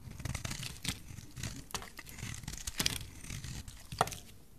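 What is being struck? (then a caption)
Bar of soap scraped with a metal blade. A solid olive green bar of dry soap, held in the hand, is scraped with a metal utility knife blade. The clip is a run of dry, crisp scraping and crackling bursts with bright, gritty edges and a few sharper snaps. Between strokes there is a low rumbling rustle.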